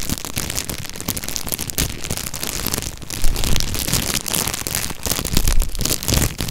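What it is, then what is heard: Stack of disposable cups in plastic wrapper. Fingertips squeeze and crinkle a thin clear plastic bag sealed around a tall stack of nested, ribbed white disposable cups (paper or possibly plastic), held in one hand over the hollow, empty cups. The result is a continuous, dense crackling and crinkling with a low, hollow thump beneath bright, high rustle, growing somewhat louder about halfway through.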